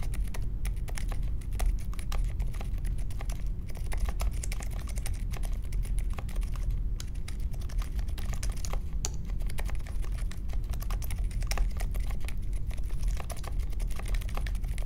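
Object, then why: Mechanical keyboard with plastic keycaps. A small 60% Polaris mechanical keyboard with a grey case, white, mint and pink plastic keycaps and Silent Alpaca linear switches, resting on a marble desk, is typed on steadily with the fingertips of both hands. The result is a continuous stream of soft, muted, low, thuddy keystrokes at an even level, with only faint brighter clicks on top.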